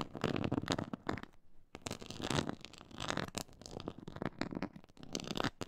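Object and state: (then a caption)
Textured faux leather board being scratched. Long nails and fingertips scratch a black pyramid-textured faux leather board, making dense, crackly scratching bursts with a low rumbling body and bright edges. The scratching comes in quick repeated strokes with brief pauses between them.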